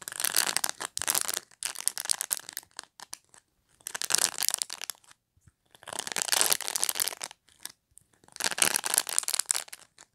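Long nails scratch across the dense plastic bristles of a black pet brush. The result is repeated bursts of bright, dry crackling and rasping, separated by short silent pauses, with almost no low end.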